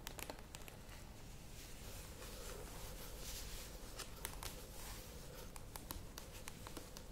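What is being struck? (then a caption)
Plastic yogurt tub. Long nails tap and scratch the printed sides of a cylindrical plastic yogurt tub standing on a table. Quiet, scattered sharp, bright clicks sit over a soft, continuous scratchy rustle and a low, muffled rumble.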